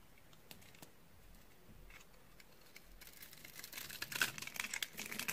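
A utility knife blade scores and cuts the end of a white, solid, dry bar of soap held in the hand, so white flakes and powder crumble off. Faint, sparse dry clicks build after a few seconds into louder, denser, bright crunching and scraping with short, sharp crackles.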